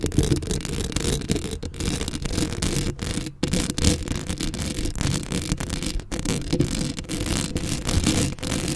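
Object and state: Metal mesh microphone grille being scratched.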